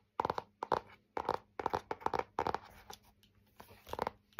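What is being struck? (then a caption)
Laminated hardboard clipboard. A thin, solid laminated hardboard clipboard with a flat printed face and a metal clip is held up while fingernails scratch and tap across its face. Dry, quick scratchy bursts and light clicky taps come in uneven clusters, with a hollow midrange tone and almost no ring between them.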